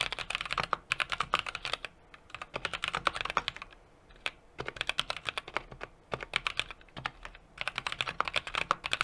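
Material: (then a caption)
Plastic, metal. Fingertips of both hands tap rapidly across the plastic keycaps of a small 60% mechanical keyboard with an aluminum case and brass plate. Quick runs of sharp, bright clacks come in bursts, separated by brief pauses near 2, 4 and 6 seconds. Each tap is crisp and dies away almost instantly, with very little low end.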